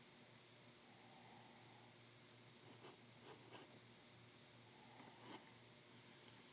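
The fine glass nib of a glass dip pen writes words in blue ink on a sheet of white lined writing paper held still on a desk, with an ink bottle nearby left untouched. Faint, steady, airy scratching runs throughout, with a few brief, brighter, rasping strokes standing out near the middle and toward the end. The overall sound stays quiet and high.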